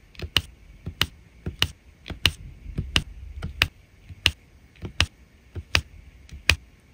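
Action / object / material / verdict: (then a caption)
tap / resin rhinestones on adhesive canvas / resin / none. Resin drills are pressed one by one onto the adhesive along the edge of a diamond painting canvas with a drill pen tip. About eleven short, bright tapping clicks arrive at an uneven pace, each with a faint lighter tick before it and almost no ring. Soft low rustling runs underneath.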